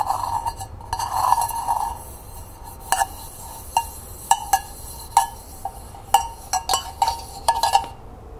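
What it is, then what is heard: Hammered copper coffee pot. Long painted nails tap on the walls and rim of a small hollow hammered copper cezve coffee pot. Each tap gives a quick, bright metallic tick with a short ring around 920 Hz. A rapid, slightly blurred flurry of taps opens the clip, followed by sparser, separate taps over a quiet hiss.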